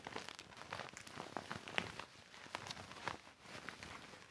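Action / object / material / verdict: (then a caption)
scrape / deflated vinyl inflatable mat / vinyl / none. A deflated, hollow silver and clear vinyl inflatable mat with colored stripes lies flat on carpet and is wiped and rubbed with a yellow microfiber cloth held in the hand. Dense, bright crinkling and crackling plastic sounds come in quick, overlapping bursts throughout, with sharp, short-lived snaps and little low end.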